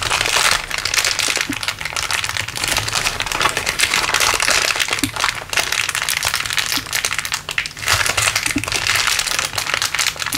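A crumpled clear LDPE plastic bag is squeezed and crinkled in one hand above a wooden table. It makes a dense, continuous bright crackling and crinkling at a fairly steady level, with a few brief dips as the grip shifts, over a faint low hum.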